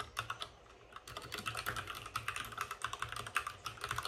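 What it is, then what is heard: Plastic mechanical keyboard being typed on. Both hands type rapidly with their fingertips on a white compact mechanical computer keyboard with plastic keycaps and RGB backlighting, resting on a desk with a padded wrist rest. A few scattered keystrokes give way, after about a second, to a steady stream of quick, crisp plastic clacks. Each click is short and bright, centered around 1.2 kHz with high treble edges, and dies out almost at once.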